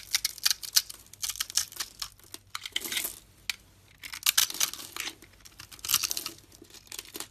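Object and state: Bar soap being cut.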